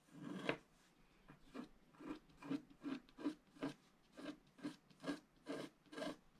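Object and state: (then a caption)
Scratch art paper being scratched. A black-coated scratch art paper sheet is scratched and rubbed with a wooden stylus in its lower right corner while the other hand presses the sheet flat. A steady series of short, dry rasping strokes follows, each a brief scratchy burst with a soft low-mid body and a faint bright hiss, separated by quiet gaps.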